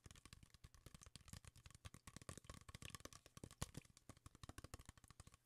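A clear plastic Kirkland bottle with a white cap and a label, apparently holding liquid, is held in the hand and tapped and scratched with fingertips and nails. A quiet, rapid run of dozens of short, dull, low taps mixes with bright, crackly scratching, each tap dying away almost instantly.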